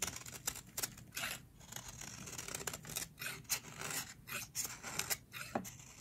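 A metal utility blade carves and scrapes shavings off a solid, hand-sized, teal rectangular bar of dry soap held in long-nailed hands. Crisp, bright scraping and cutting strokes come in quick repeated bursts, each dry and short with almost no ring, over a soft hiss.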